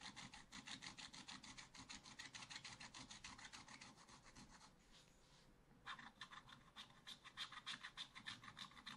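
A wooden stylus scratches the black coating of a scratch-art paper page near the drawn vines, in a spiral scratch-art book lying flat while the other hand holds the book still. The rapid strokes, about three per second, make a dry, bright, raspy scratching. Around the middle they fade to a soft hiss, then resume more sharply.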